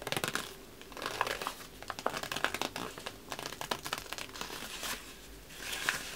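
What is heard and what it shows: A large sheet of thin, red patterned wrapping paper, empty and hollow, is held up in one hand and crinkled and rubbed with the fingertips. It makes dense, bright crackling crinkles that come in bursts, with short quieter lulls between them. There is almost no low end.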